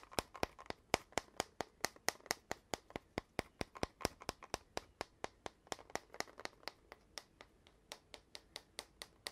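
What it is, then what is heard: Cardboard tube tapped. Fingertips and nails tap and grip a long, hollow red cardboard mailing tube with gold metal-rimmed end caps that appears empty, before lifting it upright at the end. About 37 quick, dry, hollow taps sound in a steady, uneven rhythm, each with a bright click and almost no ring, over faint crinkling from the gripping.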